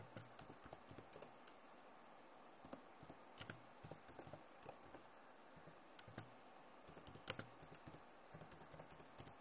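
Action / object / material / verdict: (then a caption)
tap / plastic laptop keyboard / plastic / none. Long nails type fast on the keys of a backlit plastic laptop keyboard. Quick, sharp clicks and taps come in irregular bursts over a faint steady hiss, with brief bright peaks that die away almost instantly.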